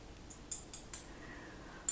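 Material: Glass.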